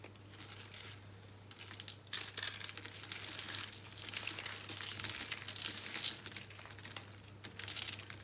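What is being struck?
Soap curls.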